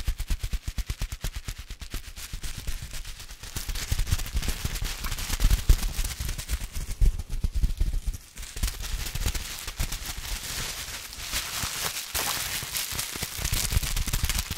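A small piece of clear plastic bubble wrap is held in both hands, squeezed and twisted with the fingers close to the mic. Rapid, sharp pops and crackles come in dense, uneven bursts, each dying away almost instantly, with a heavy low thump under the bright snaps.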